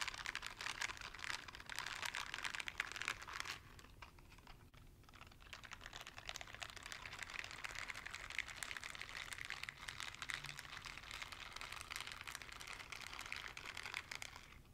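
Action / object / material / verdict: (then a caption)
scrape / silicone dishwashing gloves with bristle pads / silicone / none. A pair of light blue silicone dishwashing gloves with bristle pads, worn on both hands, has its palms and fingers rubbed and patted together in the air beside the mic. The result is a dense, bright, crinkly rustle of quick soft taps and scrubbing friction, dipping quieter around the four-to-six-second mark before picking back up.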